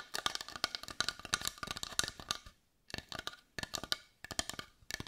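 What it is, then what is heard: Carved wooden heart. A palm-sized brown carved wooden heart that looks solid, held in both hands, is tapped with long white nails. About 29 quick, dry, bright clicks come in rapid bursts, each dying almost instantly, with little low end and brief pauses between runs.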